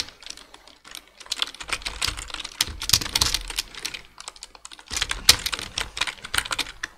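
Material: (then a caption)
Plastic. Two hands type with their fingertips on a black plastic full-size computer keyboard, producing rapid, bright, short key taps with very little ring. The tapping comes in bursts, with brief pauses between runs and a soft low thump underneath the busier stretches.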